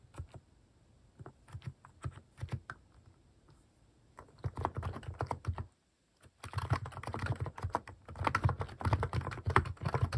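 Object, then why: Plastic mechanical keyboard with plastic keycaps. Fingertips type on a plastic mechanical keyboard (Hanmumu) fitted with cat keycaps. Scattered, low-pitched clacky keystrokes start sparse and then speed up. After a brief pause, a denser, faster burst of continuous typing follows.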